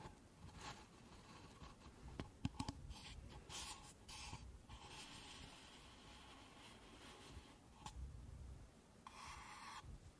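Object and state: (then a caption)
Paper cups scratched with fingernails. Long nails scratch along the outer surface of two stacked, empty pink paper cups, making a soft, dry scraping. Quiet rasping strokes come in bursts with bright hiss, over a low, hollow rumble, with a few sharper taps standing out.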